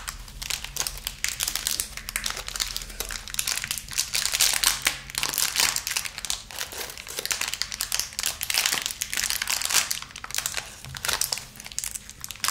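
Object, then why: Small thin plastic wrapper with candies. A small clear, crinkly plastic wrapper filled with little round pastel candies is held and squeezed between the fingertips of both hands, crinkling and rubbing the film. A dense, continuous stream of bright, sharp crackles rises and falls in intensity over a faint steady low hum.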